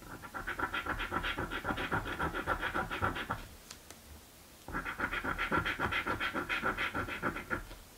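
A blue and green paper scratch lottery ticket is held flat by a hand with painted nails while the other hand scratches its coated panels with a coin. Quick, rhythmic raspy strokes come at roughly four per second, with a scratchy tone around 1.3 kHz. There are two bursts separated by a short quiet pause in the middle.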